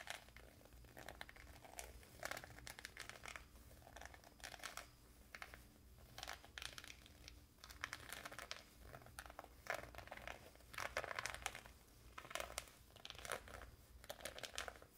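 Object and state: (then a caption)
Woven fabric pouch being scratched. Fingertips and short nails scratch and rub the textured weave of a hand-sized, soft, hollow dark grey coarse-woven fabric pouch with white printed lettering and a white trim edge, held close to the microphone. The result is a continuous run of dry, bright, crinkly scratching in short bursts that rise and fall in loudness, with a faint low hum underneath.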